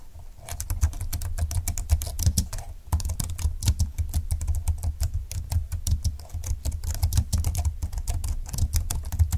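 Two-handed fingertip typing on a full-size plastic scissor-key keyboard with a silver plastic frame, dark flat keys and a hollow plastic body. A steady stream of short, quick clicks and taps, each with bright, crisp ticks over a dull low thump. The clicks die away almost instantly.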